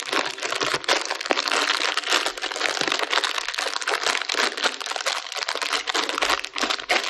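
A small, sealed, metallized plastic TUC Bites snack bag full of small crackers is squeezed and crinkled between fingertips and thumbs, with the crackers shifting inside. The result is a dense, continuous crackle of bright, sharp crinkles and crunchy rustling, with almost no low end.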